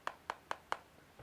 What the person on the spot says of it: the lens does feel cheap it is plastic sounds like plastic